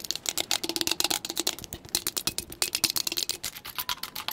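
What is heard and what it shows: Long pointed acrylic nails tap fast on a hollow purple and grey plastic insulated travel tumbler with a grip band and lid, held upright. About 23 quick, sharp clicks land in an uneven rapid stream. Each is bright and thin with almost no low end and dies away instantly.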